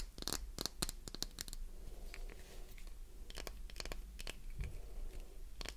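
Long nails tap and scratch the top, edges and sides of a solid translucent green glycerin soap bar held in the hand. Quick, dry clicks and short scratchy, tearing-like bursts come in bright clusters over a steady low background rumble.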